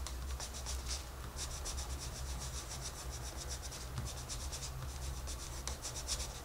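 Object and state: Pencil shading a paper coloring page.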